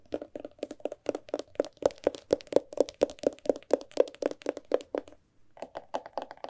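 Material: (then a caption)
Paper and board. Fingertips and nails knock and tap on the cover and spine of a large, thick antique hardcover book with gilded page edges. A quick, steady run of short, dry, mid-pitched knocks with almost no ring pauses briefly, then resumes more softly.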